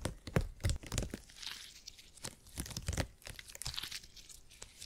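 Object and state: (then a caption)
Gel grid cushion being squeezed. A purple gel grid cushion made of hyper-elastic polymer is bent and squished between fingertips. It gives off irregular crunchy, squishy crackles and tearing-like rustles with deep soft thumps and brief bright sizzles.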